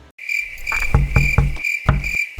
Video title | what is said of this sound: Roma dan Teman-Teman Bisa Membaca Pikiran?! 🤯🔥 | Itu tidak terdengar seperti marmar. Itu terdengar seperti silikon atau semacamnya.